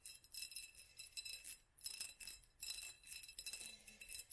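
A small hollow glass jar or candle holder with a black band of raised studs is held in both hands and tapped with long nails. It gives a quick, uneven run of quiet, bright glassy clinks with faint high ringing tones that fade fast.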